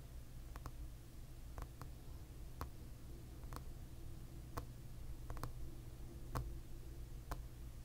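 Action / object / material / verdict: tap / plastic back of a paddle hairbrush / plastic / none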